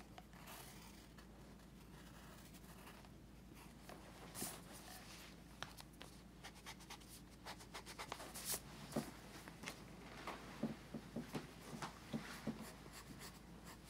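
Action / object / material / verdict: scrape / paper sketchbook page with pencil / paper / none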